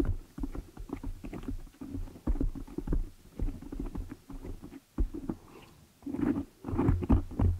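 Long nails and fingers scratch and rub the black foam windscreen on a desktop microphone, producing a rapid series of muffled, bassy scrapes and soft thumps. The sound sits mostly in the low end with little brightness, and the rubbing swells louder in bursts toward the end.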